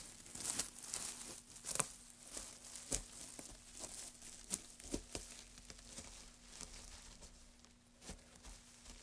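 A gloved hand digs into and stirs a pile of dry wood shavings, then scoops some up and lets them drop. It makes a quiet, bright crinkling rustle broken by sharp, short crackles. A faint low hum runs steadily underneath.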